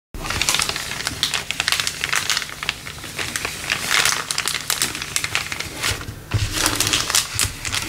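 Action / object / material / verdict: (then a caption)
scrape / thin clear polyethylene bag / plastic film / none. Fingertips press and crinkle a thin, empty, clear LDPE plastic bag with a PE-LD 04 recycling print, lying flat on a wooden table. The result is a dense, continuous run of bright, crackling crinkles, mostly high with little low end. The sound swells and eases in waves, dips briefly just past six seconds, then resumes.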